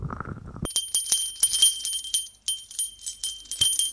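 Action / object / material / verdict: shake / small brass bell on a ribbon / brass / none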